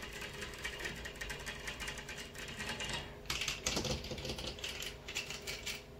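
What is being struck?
Large flat glass window pane.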